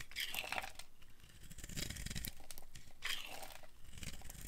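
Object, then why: Bar of soap. A solid orange rectangular bar of dry soap, held in one hand, is shaved and carved with a small flat blade. Curls and flakes break off in a continuous run of crunchy, crinkly scraping strokes with bright, papery bursts and a low rumble underneath.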